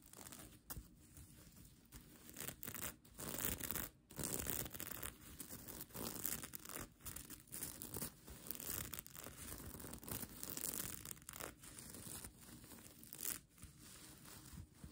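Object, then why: Plastic sequin blanket. Long nails scratch across a bunched-up plastic sequin blanket, producing a steady, dense rasping and crinkling with a bright, hissy edge. The scratching comes in uneven bursts separated by brief quiet gaps.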